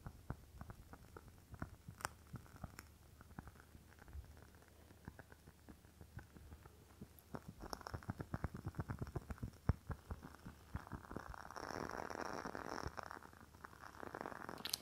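Long fingernails tap and scratch a rectangular glass candle jar filled with red wax. Quiet, rapid clicking taps give way to a denser, brighter scratching rasp toward the end, with each tap dying away almost instantly.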